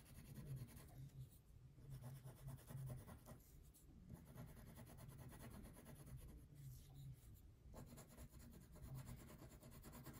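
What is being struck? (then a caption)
Wax crayon on a thin paper sheet on a table. A purple wax crayon, held in a hand with painted nails, shades a thin paper coloring sheet resting on a table. Steady rubbing, scratching strokes fill the clip as a soft, low-heavy rasp with faint brighter grit. The strokes come in repeated bursts with brief quieter gaps.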